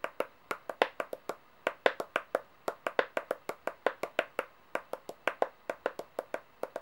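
Long painted nails tap rapidly on the faces of solid metal coins laid out on a white table, making 36 short, crisp clicks over about seven seconds. Each tap has a mid-pitched ring near 500 Hz with a brief bright edge and dies away almost instantly, with no low end.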